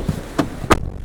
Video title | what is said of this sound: [카가이 - 아재라이드]칼 주름 디자인을 아시나요.. 캐딜락 CT6 3부 [2019 Cadillac CT6 Sedan] | 발을 브레이크에서 띄었다가 가스 페달을 딱 밟는데 플라스틱 딱딱한 플라스틱 밟는 소리가 나.